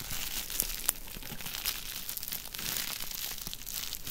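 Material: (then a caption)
Plastic. A small sheet of clear plastic bubble wrap, rolled into a tube and held in both hands, is twisted, squeezed and crinkled with the fingertips. A continuous bright, dense crackle and crunch is heard, with a couple of sharper pops standing out near the start as the air bubbles burst.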